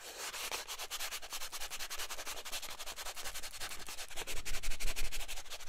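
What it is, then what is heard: Cardboard box scratched and tapped with fingernails. A small yellow and white cardboard soap box is turned in the hands while fingernails scratch and tap its surfaces. The result is a steady run of quick, dry, bright scratching strokes over a faint low rumble, growing a little louder toward the end.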